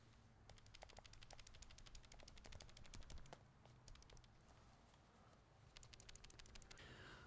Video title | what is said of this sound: MUCH WELCOMED CHANGES!! - Phone Rebel Gen 6 Frosted for iPhone 16 Pro Max | these buttons rattle a little tiny bit